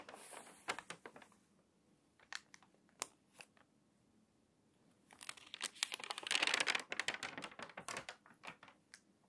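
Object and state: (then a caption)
Water-damaged glossy magazine pages. Hands turn and flip the crinkly, thin pages of an open, water-damaged glossy paper magazine lying flat on a table. Sharp, bright paper crackles and snaps come in scattered bursts with quiet pauses between them. The crinkling builds into a dense, louder stretch late in the clip before thinning out again.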